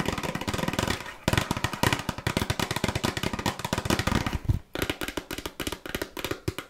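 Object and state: Cardboard cookie box.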